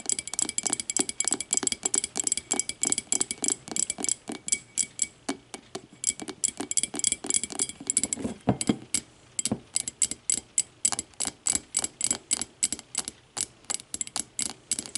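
Long matte nails tap and scratch the walls and base of a small, empty, clear glass whiskey tumbler lying on its side. The result is a quick, steady run of bright, crisp clicks with very short ring, mixed with softer scraping that briefly turns lower and smoother near the middle.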